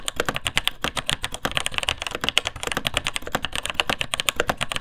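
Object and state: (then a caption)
Plastic mechanical keyboard being typed on. Fingertips type steadily on the plastic keycaps of a vintage beige, full-size plastic mechanical keyboard with linear Taiwan Jet switches. Quick, sharp, bright clacks land in a brisk, uneven stream of about three dozen keystrokes, each dying away almost at once, with a light low thud beneath.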